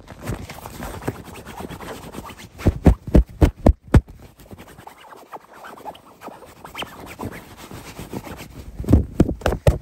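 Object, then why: Stuffed fabric throw pillow. Fingertips and nails quickly scratch and tap across a soft, stuffed white throw pillow with a grey geometric pattern and woven fabric cover, resting on a black leather couch. A steady, low, rustling scratch runs throughout, broken by bursts of louder, muffled, dull taps around the third and fourth seconds and again near the end.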